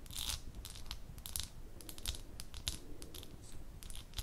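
Long nails tap the bottom and sides of a small amber glass jar held close, producing a rapid run of sharp, bright clicks. The short, dry taps have little ring, over a steady low rumble.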